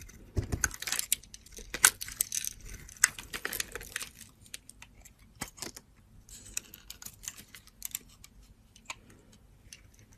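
A solid brown soap bar is shaved into curls with a metal box-cutter blade, held by a hand with long teal nails. A series of crisp, bright scraping strokes comes at an uneven pace, each short and dry with almost no ring, louder in the first half and softer toward the end.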